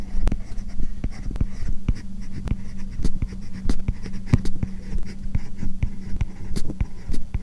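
A plastic Apple Pencil-type stylus writes English text on an iPad-style tablet lying flat, its glass screen covered by a matte plastic paper-like film. The hard tip rubs and scratches across the film in continuous strokes, giving a soft scratchy rasp with frequent sharp little taps over a steady low hum.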